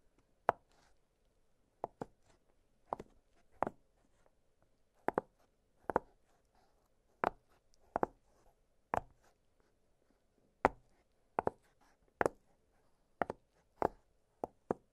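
Fingertips press and pop the hollow bubbles of an octagonal blue silicone pop-it fidget toy lying flat on a glittery surface. About twenty short, dry, quiet pops come at irregular intervals, each a sharp click that dies away almost instantly. A faint low hum sits between them.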